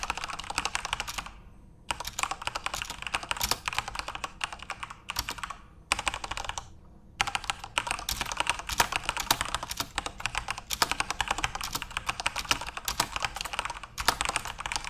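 Fingertips type continuously on a backlit plastic Corsair mechanical RGB keyboard, producing dense, bright, crisp key clicks with very short decay. The typing pauses briefly just before 2 seconds and again around 7 seconds, then resumes in steady rapid bursts.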